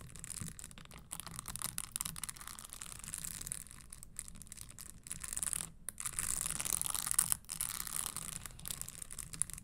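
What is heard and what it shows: Long nails scratch the studded toe of a red spiked leather Christian Louboutin stiletto pump and tap its leather insole. A dense, dry, bright scratching and clicking texture runs throughout over a faint low rumble, with brief gaps. It grows louder and busier in the second half.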